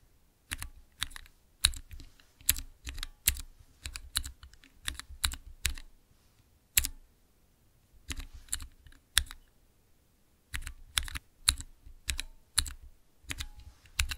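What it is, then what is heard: Mechanical keyboard switch tester. Fingertips slowly press the transparent keycaps on a small clear acrylic Cherry MX mechanical keyboard switch tester. Each press makes a sharp, bright plastic click that ends almost at once, with a faint low thump beneath. The clicks come in steady runs, broken by short quiet pauses.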